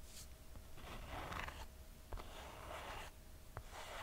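Long nails scratch and tap the brown leather and cork footbed and straps of a red two-buckle sandal held in the hand. Soft, bright rasping scratches come in bursts, broken by a few sharp, short taps, over a quiet low rumble.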